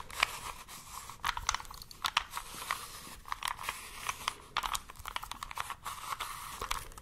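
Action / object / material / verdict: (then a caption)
tap / small plastic puzzle cube / plastic / none. A small plastic 3x3 puzzle cube is held in both hands, tapped with a fingertip and long nails, scratched, and its layers twisted. Quick, dry clicks and crisp scratchy rustles come in irregular bursts, bright and sharp with almost no ring and little low end.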